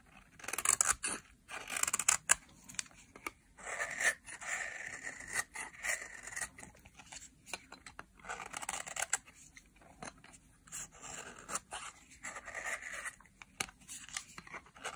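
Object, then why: Bar of soap scraped with a metal knife. A metal knife blade is scraped along the edge of a solid, pale yellow dry soap bar, cutting off fine crumbly shavings. Repeated short, dry scraping strokes give a crisp, bright crackle with almost no low end, each stroke stopping cleanly with no ring.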